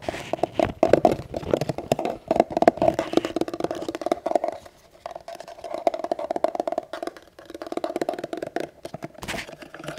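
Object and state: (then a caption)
Empty gun holster, hollow. An empty gun holster with no gun inside is tapped rapidly with many quick, dry taps. The taps give a hollow, mid-pitched knock that fades almost instantly and comes in bursts with short pauses.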